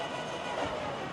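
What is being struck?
Nothing is struck.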